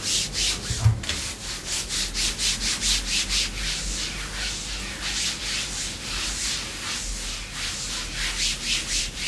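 Long pink nails scratch and rub along black glossy faux leather leggings, a thin, soft layer stretched over a raised thigh. A steady run of bright, hissing scratch strokes repeats rhythmically throughout, with one brief low thump near the start.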